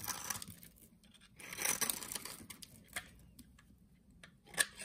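A solid orange soap bar held in hand has its scored surface shaved off with a utility knife blade. Quiet, bright scraping and crisp crackling come in short bursts, with a louder sustained shave in the middle and a sharp snap near the end.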